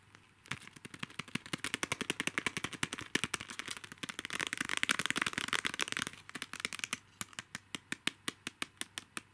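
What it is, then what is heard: Plastic mini highlighters in a plastic tray. Long nails tap and scratch on six small, hollow, pastel, capsule-shaped plastic mini highlighters held in a clear plastic tray. The result is a rapid, irregular run of sharp, bright plastic clicks with almost no ring. The taps blur into a dense, crackly scratching flurry in the middle, then thin out into evenly spaced taps at the end.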